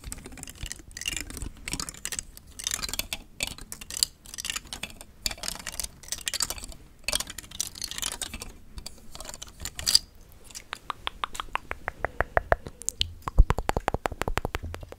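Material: Plastic.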